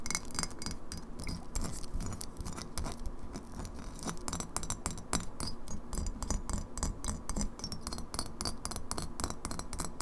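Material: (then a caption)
Glass. Long fingernails tap rapidly on the bottom and lower side of a partly filled glass kombucha bottle tilted sideways. The result is a fast, steady stream of bright, short glassy clicks with a faint ring around 2.2 kHz, over a constant low rumble.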